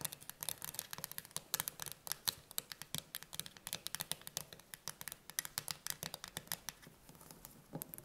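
A full steel tin can stands upright while the long nails of both hands tap rapidly on its lid. The result is a quick, irregular patter of sharp, bright clicks, each dying away almost instantly, with little low end.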